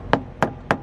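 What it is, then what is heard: Properly inflated truck tire. A rubber truck tire is thumped three times during a pre-trip check. Each thump is hard and bouncy rather than hollow or dull, which shows the tire is properly inflated.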